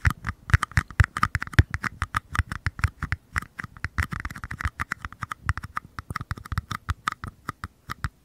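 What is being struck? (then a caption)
Small empty paper cup. Fingertips and nails rapidly tap and scratch the bottoms of two identical small, empty paper cups held toward the mic. About fifty short, dry hits sound out, each with a soft low thump and a papery midrange click. A brief stretch of scratchy rustle sits in the middle of the taps.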